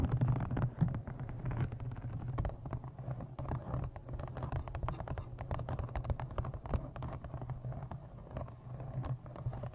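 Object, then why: Embossed leather journal. Long nails tap quickly and continuously on the cover and edges of a thick brown embossed leather journal with a blue stone, held in front of a microphone. The taps are soft, dull and short, with most of their weight in the low range and little brightness, over a steady low hum.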